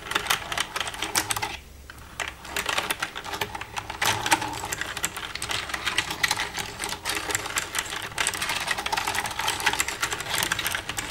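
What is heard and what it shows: Long red-painted nails tap and type with both hands across a black plastic desktop computer keyboard with a hollow casing. A dense stream of quick, bright plastic clicks and clacks runs throughout, each dying away almost at once, with one brief lull near the two-second mark.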